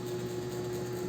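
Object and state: Nothing is struck.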